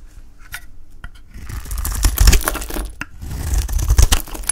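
A solid, cream-coloured, hand-sized bar of dry Palmolive soap is held in the hand and shaved with a utility knife blade, and flakes fall off. Crisp, crackly scraping strokes with sharp ticks and clicks swell and fade in bursts, with a low thud underneath.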